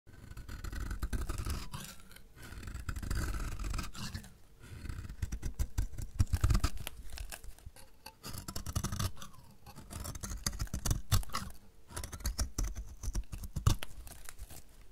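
A hand-sized solid bar of dry yellow laundry soap, held in one hand, is shaved with a metal utility-knife blade that takes curls off its edge in repeated strokes. Each stroke makes a dense, low, crackly scraping rasp, and the strokes come in waves with brief quieter pauses between them.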